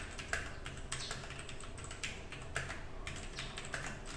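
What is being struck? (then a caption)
Mechanical keyboard with plastic keycaps. Both hands type quickly with their fingertips on a compact 60% mechanical keyboard with a black case and mostly white plastic keycaps plus a few coloured accent keys, resting on a desk mat beside some untouched loose keycaps. The result is a rapid, steady stream of short, bright plastic clacks and taps that die away almost instantly, with a few louder strikes, over a low background rumble.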